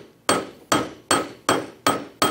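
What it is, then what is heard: Steel anvil struck, tough metal. A solid steel coat hanger, also referred to as an anvil, is banged on six times in a classroom demonstration of material properties. Each strike gives a sharp metallic clink with a ringing tone around 1.3 kHz and bright overtones that fade quickly, showing the steel is really tough.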